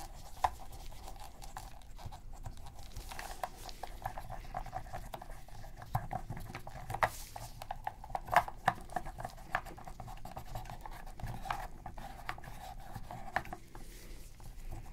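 Gloved hands hold a black PS3 controller of hollow hard plastic while a cotton swab rubs and scratches around its buttons and along the grip seams. The result is a quiet, steady dry scratching and pattering texture with a faint hollow plastic tone, dotted with brief sharp ticks that die away instantly.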